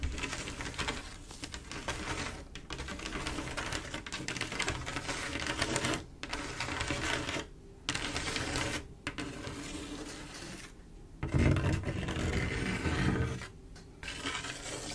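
Long acrylic nails tap and scrape across a solid glass mosaic tile picture, a large flat panel of silver, mirror-like tiles and their grout. A dense stream of quick, bright clicks and gritty scratching runs throughout, broken by a few short pauses. A louder, fuller stretch comes near the end.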